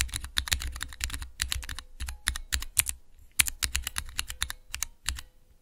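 Fingertips rapidly press and type on a small, hollow plastic switch tester with clear plastic keycaps over Cherry MX switches. Quick bursts of sharp, bright clicks are heard, each with a dull low thud and almost no ring. A faint steady hum sits underneath.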